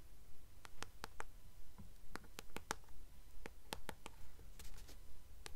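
Long acrylic nails tap and scratch the glossy card back cover of a blue Percy Jackson paperback novel held upright. Sharp, bright clicks ring out in a fairly steady rhythm over a quiet, low background rumble, with soft scratching between the taps.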